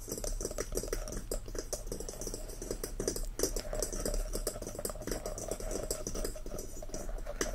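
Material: Wood.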